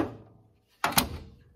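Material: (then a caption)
Steel. A steel body mount at the back of a Pontiac Firebird's front frame area is knocked on twice, giving two short, dull thunks with almost no ring. The mount sounds solid, with no rust-through.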